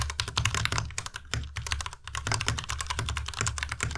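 A white plastic tenkeyless Ducky Miya Pro mechanical keyboard is typed on continuously with the fingertips of both hands. Rapid, overlapping key clicks bring bright, crisp highs over a low thocky body around 100 Hz. The keystrokes run at a fairly steady pace, with a brief lull near the middle.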